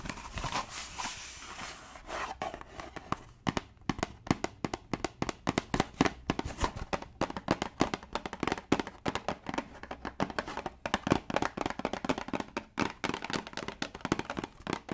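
A small, hollow, yellow printed cardboard tea box, held in one hand, is tapped and scratched with long dark nails along its top edge and face. Brief scratching at the start gives way to a rapid, uneven stream of short, sharp, dry clicks and taps that stop almost instantly, with no ringing.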